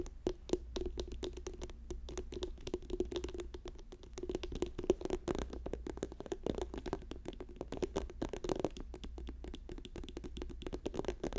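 Fingers tap rapidly on a plastic tube, making a dense, continuous run of short, dry, hollow clicks with a faint tonal ring around 360 Hz. A steady low hum sits underneath the whole time.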